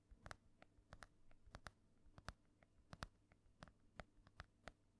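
Long nails tap and scratch across the cover of an ornate, solid embossed hardcover book held in one hand. About seventeen quiet, crisp taps ring briefly with bright clicks, over a faint low hum and soft scratching between them.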